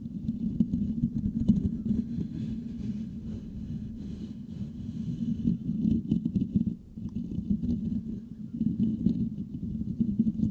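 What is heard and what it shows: Fingertips of both hands scratch the metal mesh grille of a Blue Yeti microphone, making a dense, continuous low scratching rumble centered around 200 Hz. The sound briefly drops away near the seven-second mark before the rapid scratching resumes and builds again toward the end.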